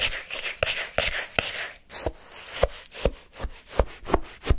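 A wooden stick lifts a lump of frozen orange shaved-ice sherbet from a paper cup, then scrapes and digs through the crushed ice. The result is a run of short, crisp, crunchy scrapes at an uneven pace, each a broadband burst with a bright, gritty edge over a soft low thump, decaying almost instantly.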